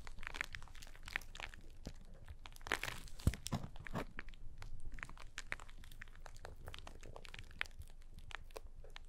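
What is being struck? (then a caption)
Small cardboard box. Fingertips press and scratch the top surface of a small hollow cardboard box with a paper label. The result is a steady stream of short, dry crinkling and scratching clicks with bright edges over a soft low rumble, each tick stopping almost instantly.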